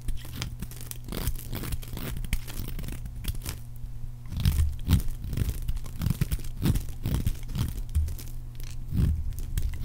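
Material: Soap.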